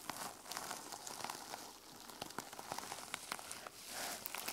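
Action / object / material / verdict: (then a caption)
scrape / fabric journal with a plastic sequin cover / plastic sequins / none. A small journal with a teal sequin-covered fabric cover lies flat on a table while fingertips and nails scratch across the sequins. The result is a quiet, bright, crackling rustle with many sharp little ticks and almost no low end, rising and falling in sweeps.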